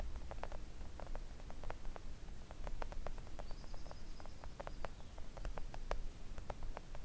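Long acrylic nail tips tap a thin, solid, flat pink silicone nail art mat with the fingers splayed. Quick, light, dry clicks patter irregularly throughout over a steady low background hum, with a faint high tone briefly in the middle.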